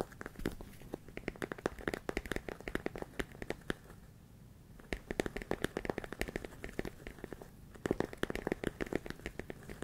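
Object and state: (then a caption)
Plastic container full of rice. A large clear plastic storage container with a lid, full of small rice-like grains, is tapped and scratched on its sides with fingertips and nails. Dense bursts of quick, dry clicks and crinkly scratching run in clusters, with a quieter lull near the middle before the tapping picks up again. The sound is short and crisp, with no ringing.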